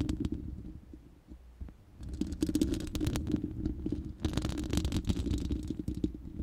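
Long nails scratch the bare, hollow round steel mesh grille of a studio microphone. The result is a dense, irregular scraping with a deep hollow rumble and a resonant hum near 320 Hz, peppered with bright crackling ticks. It quiets briefly after the first second, then grows busier and louder.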